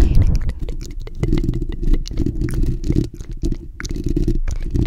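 Fingertips and nails of both hands scratch and rub the bare steel wire-mesh grille of a black desktop condenser microphone's hollow dome. The result is a continuous deep, rumbling scrape with many quick scratchy ticks and brief dips, dominated by low boomy tones with only faint brighter crackles.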